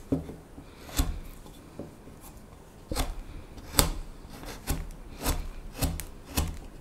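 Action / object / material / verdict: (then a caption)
scrape / wooden spoon blank carved with a small steel knife / wood / none. A solid, light wooden spoon blank held in the hand is whittled with a small steel knife in shaving and scraping strokes along the bowl and neck. Short, dry scraping strokes with bright, crisp edges come in irregular bursts over a low, soft rumble, each cut dying away almost at once.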